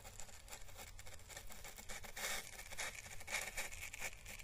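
A small, hollow, dried orange Chinese lantern husk (a papery plant calyx) is held by its stem while the bristles of a paintbrush are slowly brushed over its thin papery ribs. The result is a quiet, continuous dry crackling and scratchy brushing with bright, papery detail over a faint low rumble, swelling a little louder in the second half.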